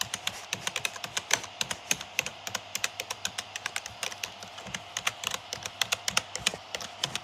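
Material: Plastic.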